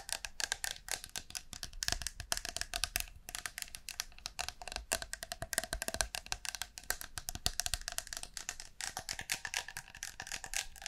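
Long nails tap and scratch the metal body of a blue and green aerosol shaving foam can, held horizontally and upright near the microphone. Quick, rapid taps make a dense run of bright, dry clicks with a faint metallic ping around 1.6 kHz and almost no ring. Scratchy textures sit between the taps throughout.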